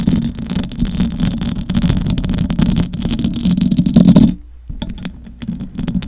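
Long acrylic nails scratch the metal mesh grille of a large silver condenser microphone with both hands, making a dense, rasping scrape with a heavy low rumble and a steady hum near 200 Hz. The scratching runs continuously for about four seconds, cuts off abruptly, then returns as quieter, sparser scrapes.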